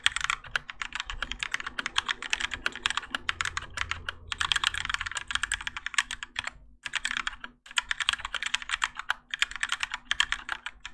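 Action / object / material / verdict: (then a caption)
tap / mechanical keyboard with ABS plastic keycaps / ABS plastic / none. Both hands type continuously with their fingertips on a Keychron K4 compact mechanical keyboard with Gateron Yellow switches, grey and orange ABS plastic keycaps and a plastic and metal case, resting on a desk mat. A dense stream of short, bright plastic clacks runs through the clip, broken by a few brief pauses, over a faint steady low hum.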